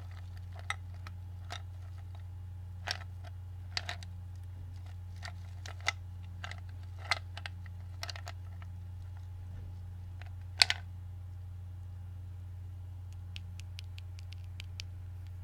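Both hands pick up ice cubes from a clear glass bowl full of ice, rubbing them with the fingertips and clinking them against the bowl. About a dozen short, sharp, bright clinks and clicks ring out at irregular intervals over a steady low hum, each dying away almost instantly.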